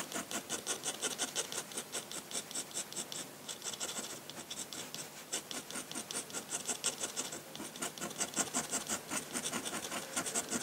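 A metal dip-pen nib, held in the fingertips, scratches across a large flat sheet of white drawing paper lying on a table while drawing ink lines. A steady run of quick, bright, dry scratching strokes comes at a loose, uneven rhythm, with brief pauses between bursts and almost no low end.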